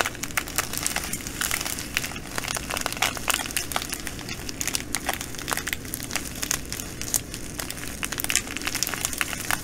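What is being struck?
Plastic bag of glass beads.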